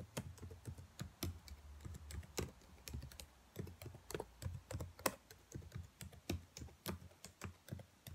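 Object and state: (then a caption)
Plastic laptop keyboard. Fingernails tap and type across the black plastic keys of a dark laptop keyboard, giving a steady run of quick, dry clicks with bright tips and soft low thumps underneath. The taps come in irregular bursts, each dying away almost instantly, over a quiet background.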